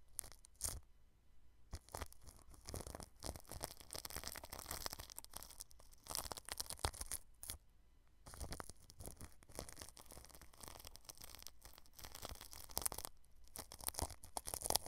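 A small paintbrush sweeps and rubs across plastic cling film stretched over a microphone head. The result is close, crinkly rustling and scratchy brushing with bright, crackling edges, in dense bursts broken by brief quieter pauses.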